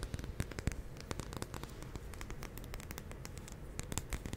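Long nails tap and scratch the glass side of a large glass jar candle filled with white wax while it is held. Rapid, quiet clicks and scratchy ticks with bright edges sit over a low, steady rumble, each tap dying away almost at once.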